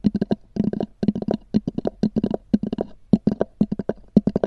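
Long nails tap and scratch rapidly across a small black oval hard-shell EVA zip case with a textured cover. About 22 short, dry, hollow knocks with a low body near 200 Hz come in quick clusters. Each knock dies away almost instantly, with faint scratchy texture between them.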